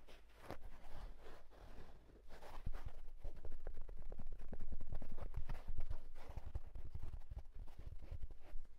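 Fingertips scratch quickly along the side of the hollow crown of a houndstooth wool tweed fedora hat resting on a bed. The result is a fast, uneven run of short, dull, muffled strokes, about four per second, with little high-frequency brightness.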